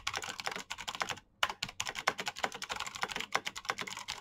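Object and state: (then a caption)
Mechanical keyboard typing. Fingertips of both hands rapidly type on the keycaps of a black plastic mechanical keyboard with clicky switches. A fast, uneven stream of sharp, bright clicks runs throughout, with a brief pause near the middle before the typing resumes.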